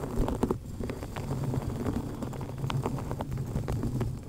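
Long painted nails on both hands scratch and tap the black foam windscreen covering a microphone head, which is held in place. The result is a dense, muffled stream of quick soft thuds and scratchy brushing, heavy in low rumble with only faint bright ticks.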